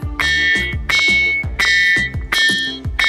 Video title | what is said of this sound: 💁 એક રહસ્યમય પથ્થર -- amazig ringing stone | ખરેખર આવે છે ને ઝાલર નો અવાજ